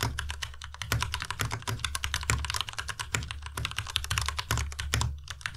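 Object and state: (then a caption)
Plastic mechanical keyboard. Fast two-handed fingertip typing on a white tenkeyless Ducky Miya Pro mechanical keyboard with plastic keycaps and Cherry MX Red switches. A dense, steady stream of short clacks, each with a bright high tick and a low thud underneath, with a few louder strikes standing out along the way.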